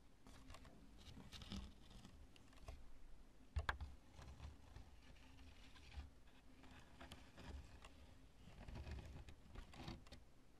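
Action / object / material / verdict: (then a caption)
tap / chunk of cured polyurethane spray foam / polyurethane foam / none. Long nails tap and scratch the bumpy surface of a large, lumpy chunk of cured polyurethane spray foam, cream colored and light but solid with air cells, resting on purple cloth. Quiet, dry taps and scratchy rustles sit over a low, steady rumble, with a couple of sharper clicks near the middle. Each sound stops almost instantly, without ringing.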